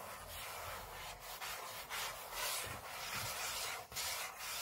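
Short fingernails scratch the aluminium lid of a closed space-grey MacBook lying flat on a table, heard close up. A steady, bright, dry scraping rasp runs throughout, rising and falling in short strokes with brief gaps.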